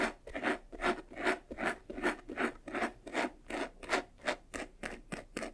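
Fingernails quickly scratch the side edges of a medium, white, textured faux-leather jewelry box that is hollow and closed. Rapid, fairly steady strokes make short bursts of dry, rasping scratches that rise and fall in a quick rhythm, with a bright texture and almost no low end.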